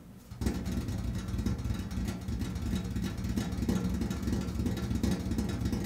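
Fingertips tap rapidly on a large, flat, hollow painted steel washing machine lid, moving between its edge and centre. After a brief quiet start, a steady stream of soft, low, hollow thumps rings briefly with a dull resonant tone and little high-end brightness.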